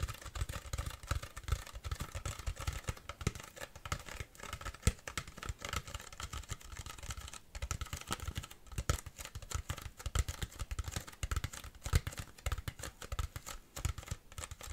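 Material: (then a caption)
Plastic. An empty Bonaqua PET plastic water bottle, held upright, is tapped rapidly with long fingernails on its base area. The result is a dense, continuous patter of quick, dry clicks with a soft low thump beneath and a crisp, bright edge, each tap dying away almost instantly.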